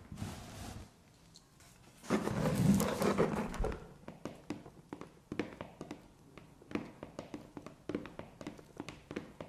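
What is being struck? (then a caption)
Corrugated cardboard box. Long painted nails tap and scratch the front face of a hollow, medium corrugated cardboard parcel box with blue postal tape, resting on carpet. A brief rough scratch is followed by a pause, then a louder, dense stretch of scratching. The rest is a steady run of short, dull, hollow taps with a low thunk and almost no ring.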